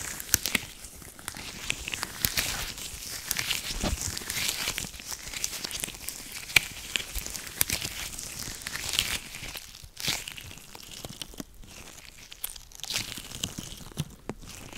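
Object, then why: Thin latex gloves. Thin, flexible white latex gloves worn on both hands are rubbed and pinched together at the fingertips and palms close to the microphone. The result is a continuous crinkling, squeaky rub with sharp snapping crackles throughout, bright and concentrated in the high range with little low end.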